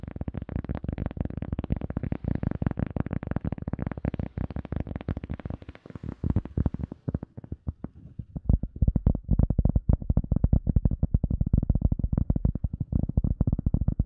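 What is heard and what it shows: An EVA foam sponge is tapped rapidly for ASMR with no talking, producing a dense, fast stream of soft, low, muffled thuds that die away almost instantly. The tapping thins out briefly around the middle before resuming steady and slightly louder to the end.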